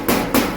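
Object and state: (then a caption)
Thick, solid stainless steel shelf. Two knocks on a used, heavy stainless steel kitchen shelf made of thick 1.2 mm sheet produce two clear metallic pings with a tone around 240 Hz, each ringing for about a quarter second. The solid ring marks the shelf as thick and sturdy, not a thin, flimsy assembled unit.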